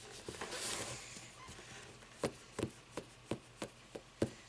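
Long nails scratch across the edges and page block of a closed hardcover paper book standing on end, making a bright, papery rasp that fades into quiet. A steady series of short, crisp taps on the book follows, each dry with almost no ring.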